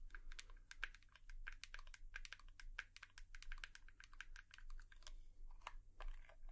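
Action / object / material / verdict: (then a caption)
tap / plastic hairbrush / plastic / none. Long nails tap rapidly and irregularly on a hairbrush, making a dense run of short, sharp clicky ticks with a light plastic tone around 1.6 kHz and bright edges. The taps die away almost instantly over a steady low hum, and the whole sound stays quiet and close.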